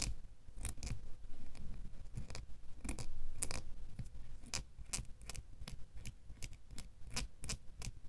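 A small solid metal door key is held by its blade while a fingernail scratches and clicks on the bow and blade. Quiet, bright, irregular clicks and short scratches come about three times a second over a soft low rumble, each dying away almost at once.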